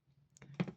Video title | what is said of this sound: Limpiado,Cuidado y consejos para nuestra colección de figuras de accion | vean si escuchan esta parte está hueco al estar hueco